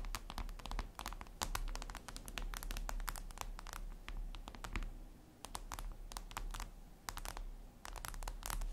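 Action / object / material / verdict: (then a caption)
tap / glass mirror tabletop / glass / none. Long acrylic nails scratch and tap on a flat, solid glass mirror tabletop surface. Rapid, bright clicking taps and short scratches come in dense bursts over a steady low hum, each tap dying away quickly.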